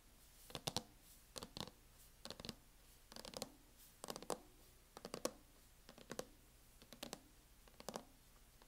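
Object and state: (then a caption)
Plastic laptop hard-shell case. Long acrylic nail tips tap on a closed laptop in a mint matte plastic hard-shell case. Quick, bright, dry clicks come in short bursts of several taps, separated by brief pauses. Each tap stops instantly with no ring, over a quiet background.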